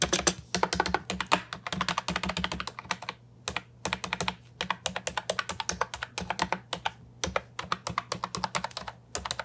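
A compact brown and white Ajazz 308I plastic keyboard with round typewriter-style keycaps, resting on a wooden desk, is typed on with fingertips. Quick, steady runs of sharp, bright clicky keystrokes come with short pauses between bursts, each press dying away almost instantly, over a faint low hum.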